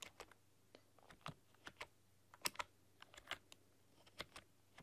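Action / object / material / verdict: tap / plastic computer keyboard / plastic / none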